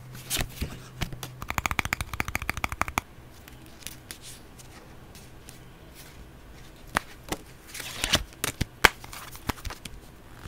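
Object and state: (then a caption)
Paper playing card deck being shuffled. A small, solid deck of paper playing cards with red Spider-Man-style backs and white edges is cut, riffled and shuffled in both hands. Card edges flick and slide against each other in a fast burst of bright clicks, with scattered sharper snaps later on. The clicks are dry and short, with no ring after them.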